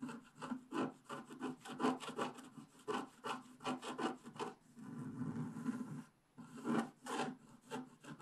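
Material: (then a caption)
Coated paper. A wooden stylus scrapes the black coating off the left edge of a flat scratch art paper sheet in repeated rubbing strokes. Quick dry, rasping scratches come one after another, with a longer steady scrape in the middle and a short pause before the final few strokes.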